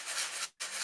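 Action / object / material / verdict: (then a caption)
shake / small box with rice grains inside / rice / none. A small box with rice inside is shaken, making two bright, hissing rattles of grains separated by a brief silence. The box is opened and confirmed to hold rice.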